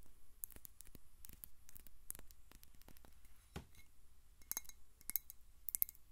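Long nails tap rapidly on a clear glass VOSS-style water bottle with a white cap, partly filled with water and tilted. The result is a quiet run of short, bright clicks and glassy chinks, with a few sharper, ringing taps near the end, over a low steady rumble.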